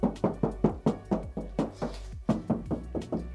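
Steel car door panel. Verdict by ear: Hollow.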